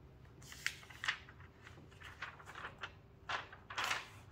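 Hands with long painted nails flip and smooth the thin pages of an open glossy paper magazine lying flat on a white table, with fingertips and nails rubbing on the paper, while a second, closed magazine lies untouched nearby. Quiet, bright paper rustles and crisp swishes come in short bursts, with the loudest page flips near the end.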